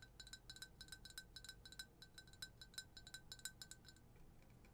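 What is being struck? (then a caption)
Glass jar tapped with fingernails. A clear glass jar or tumbler printed with "I put the BOO in Boujee", hollow with something white inside, is held in one hand and tapped on the outside with long acrylic nails. About two dozen quick, clicky taps ring briefly with a clear tone near 1.5 kHz and bright overtones above it. In the final half second the taps turn softer and duller.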